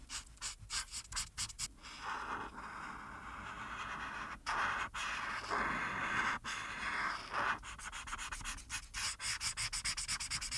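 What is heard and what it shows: The felt tip of a plastic alcohol marker, held in a hand with painted nails, rubs and scratches in small strokes over a flat printed paper coloring sheet lying on a dark surface, filling a skeleton's eye with yellow. Quick, bright, scratchy strokes open and close the clip, with longer steady rubbing passes in the middle that carry a hissy tone around 1.5 kHz.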